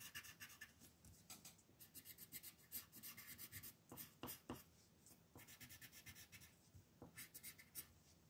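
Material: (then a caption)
Paper. A yellow colored pencil scratches and rubs over a flat paper mandala coloring page lying on a table. Quick, uneven strokes follow one another, each a dry, bright scratch with a soft papery rasp underneath and almost no ring after it.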